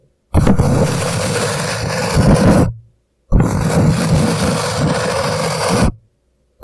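Hands grip an empty, upside-down paper coffee cup and slowly rub and scratch its paper sides with their fingertips. The hollow cup gives a loud, dense, low rumbling scrape that runs in two long passages of about two and a half seconds each, separated by a short silence, with a new burst just starting at the end.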